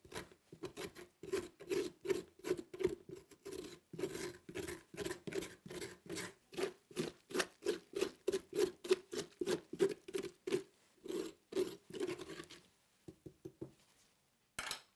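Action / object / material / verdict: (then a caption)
scrape / pumpkin scraped with a metal spoon / pumpkin flesh / none. A metal spoon in a gloved hand scrapes the inner flesh of a large, hollow orange pumpkin with an open top, making a quick run of short, rasping scrapes, about three per second, with a hollow midrange tone. The scraping stops near the end, leaving a few faint strokes, then a brief bright rustle as the spoon lifts out.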